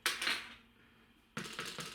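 A loaf of bread made without yeast is tapped five times after ten more minutes on the top shelf of the oven. It gives crisp, bright, hollow knocks with a short ring: two taps, a pause, then three more. The hollow sound shows the loaf is now baked through and done.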